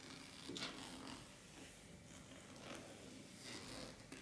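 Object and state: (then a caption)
Metallic fabric clutch pouch. Long black-painted nails scratch and rub the surface and edge of a flat, empty-looking champagne-gold shimmery metallic fabric clutch bag lying on a wooden table, possibly near its zipper. The result is a quiet, continuous dry scratching and rustling with a bright, hissy texture, swelling in brief louder strokes throughout.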